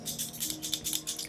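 A Lancôme matte shaker liquid lip product in its shaker bottle is shaken to bring the color up before applying. Quick, bright rattling clicks repeat in a steady rhythm, about ten in all, each dying away almost at once.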